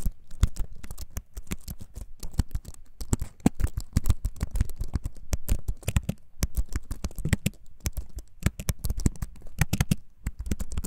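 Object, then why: Wooden-framed computer keyboard. Fingertips type rapidly on the keys of a compact, solid-bodied wooden-framed computer keyboard held in both hands. A dense, steady stream of short, dry taps and clicks follows, each with a low, thuddy body and a brief bright edge that dies away almost instantly.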